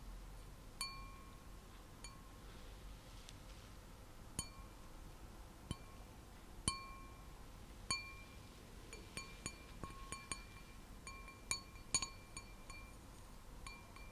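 An empty clear wine glass with a white design is held and tapped with long nails in light, irregular taps. Each tap gives a bright, chime-like ring with steady tones near 1 kHz and 2.5 kHz plus high overtones, over a quiet background hiss.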